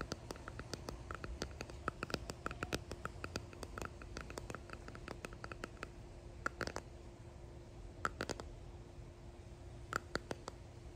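Long painted nails and fingertips tap and click on a clear resin hexagon box holding pressed flowers and gold flakes. Quick, dry, bright clicks with a faint ringing tone near 1.3 kHz come in scattered bursts over a low, steady background hum.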